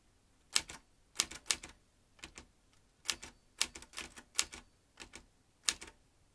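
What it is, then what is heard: Metal manual typewriter. Fingertips type fast on a metal manual typewriter, making about eighteen sharp, bright key strikes in irregular bursts. Each clack is dry and dies away almost at once, with very little low end and quiet gaps between clusters.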